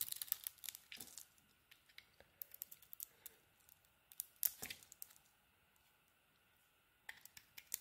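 A metal utility blade carves a solid orange and teal rectangular soap bar, scraping and shaving it in quick, crisp strokes. The sound is a dense run of bright, dry scratches and clicks with almost no low end, then a quiet pause before the shaving resumes near the end.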